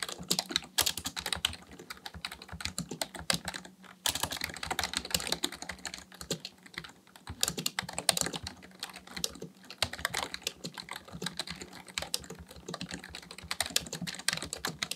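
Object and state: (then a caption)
Plastic computer keyboard. A black plastic full-size Dell KB1421 membrane keyboard with a hollow housing sits on a desk while the fingertips of both hands type continuously, pressing and tapping the keys. The result is a dense stream of short, bright, clicky key taps with little low end, brief pauses near 4 and 10 seconds, and louder bursts scattered throughout.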